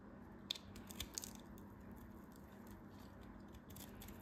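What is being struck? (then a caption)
Dried soap cube. A metal craft knife carves and shaves a small, solid chunk of dried multicolored soap coated in gold glitter, held in the fingers. A few sharp, bright crunchy cracks stand out in the first part, then give way to a steady, soft scraping and shaving texture over a low background hum.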